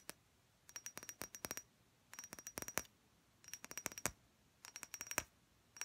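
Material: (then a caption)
Glass. A thick clear glass perfume bottle, partly filled with liquid, is tapped with long red-painted nails in quick bursts of sharp clicks. The taps have a bright, high glassy ring that dies away almost instantly, with short silent gaps between the bursts.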